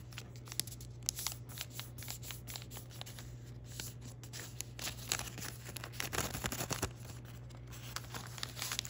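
A small square of thin patterned origami paper, folded into a square base, is creased and rubbed by fingertips and thumbs. Crisp, bright paper crinkles and quick sharp crackles come over a steady low hum, with denser, louder rustling in the second half.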